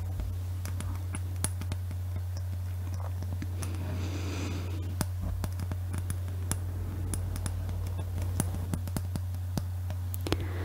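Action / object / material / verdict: tap / hollow glass Christmas bauble tapped with fingernails / glass / none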